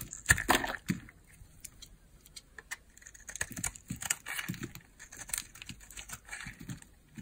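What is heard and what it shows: A utility knife blade carves a small, solid, cream-colored bar of old hard soap held in the hand, scraping off crumbly flakes. A few louder, bright crunching cuts come first, followed by a steady run of softer, dry scraping and crackling strokes.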